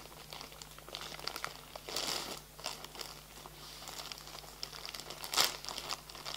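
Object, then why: Thin plastic film over a flat package with cardboard inside. Fingertips and nails rub and crinkle the thin plastic film wrapped around a flat package holding a folded garden bag with a cardboard insert. The result is a steady run of bright, crisp crackles and rustles, with louder bursts around two seconds and just before the end.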